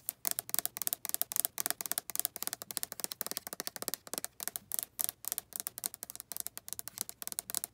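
Long red acrylic nails tap and scratch quickly across the body and glittery label of a hand-sized white plastic Bath & Body Works lotion bottle with a flip cap, hollow and probably full. The result is a steady run of crisp, bright clicks and scrapes with almost no low end, each one stopping dead with no ring.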